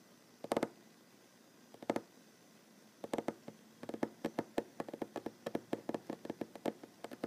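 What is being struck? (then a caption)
Wooden tabletop. A solid wooden tabletop is tapped with fingertips and short nails. A few scattered, doubled taps give way to a steady run of quick, evenly spaced taps. Each tap is a short, dry, mid-pitched knock that dies away almost instantly over a faint hiss.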